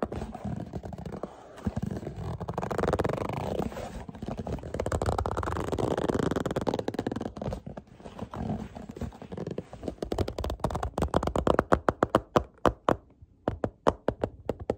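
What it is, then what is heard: Cardboard product box. Fingertips tap, grip and scratch at a small, hollow printed cardboard product box held in the hands, working over its front and top edge. For about the first ten seconds the sound is a dense, continuous rustle of scratching and gripping with a hollow, mid-pitched body. It then breaks into a quick series of sharp, separate taps with short, dry decays.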